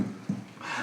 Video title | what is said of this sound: Les Bons Plans Immobiliers des Pays en Crise | Là, ça sonne le creux. Ça sonne le creux, il y a du contreplaqué là pour avoir un petit peu d'air, un petit peu de vide sanitaire derrière.